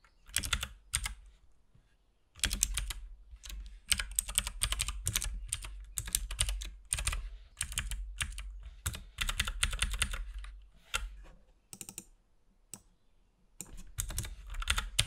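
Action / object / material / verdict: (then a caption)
tap / plastic mechanical keyboard / plastic / none. Fingertips from both hands type continuously on a compact RGB-backlit mechanical keyboard with plastic keycaps and a hollow case. Rapid, bright clicky key presses come in bursts with brief pauses, over a low hollow thud from each keystroke.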